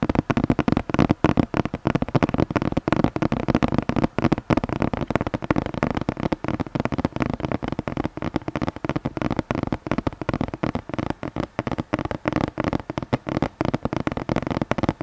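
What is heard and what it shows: Fingertips and nails tap and scratch the surface of a flat red cardboard gift box with a Christmas tree print, held upright behind the microphone with its contents not visible. A rapid, continuous stream of short, dull taps and crackly scratches fills the clip, mostly in the low and middle range, with each hit dying away almost instantly.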